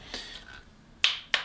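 Three taps on the plastic shell of a budget radio-control transmitter (about 35 €), which feels heavy and sturdy even without batteries. It gives short, bright clicks: a softer first tap, then two sharper ones that die away almost at once. The shell sounds solid rather than hollow.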